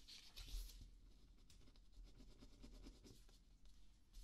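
A ballpoint pen held in the fingertips writes and scratches across a sheet of thin paper on a small spiral notepad lying flat on a dark table, while the other hand steadies the pad. The sound is a quiet, continuous scratchy rubbing with bright, hissy pen strokes over a low, steady rumble.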